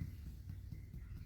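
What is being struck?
Nothing is struck.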